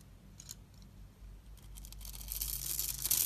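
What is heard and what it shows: A metal utility-knife blade scores and scrapes the surface of a palm-sized, solid rectangular blue and white striped bar soap held in one hand, cutting it into small cubes that crumble off. Quiet, bright, crackly scratching builds steadily and grows loudest and densest toward the end, with a faint low hum underneath.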